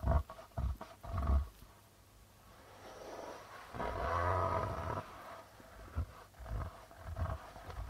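Fingertips and nails drag and scratch across the white plastic membrane of a hollow darbuka drum, producing low rubbing friction sounds. Short, deep thumps are broken up by a longer, swelling scrape that sounds like a low growl.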